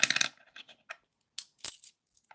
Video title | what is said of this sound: What's in my change live episode plenty of rare 2pounds and even a commonwealth 👍🪙😎 | it sounds a bit clunky as well